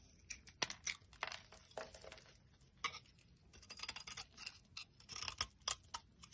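A solid, dry orange Evyap soap bar held in the hand is shaved and carved with a metal utility knife blade. Short, crisp, bright scraping strokes come in irregular bursts with quiet gaps between them. The cuts are mostly high-pitched with almost no low end.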